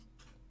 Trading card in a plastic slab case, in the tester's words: it's literally hitting the edges of the um case it's not really a well put together case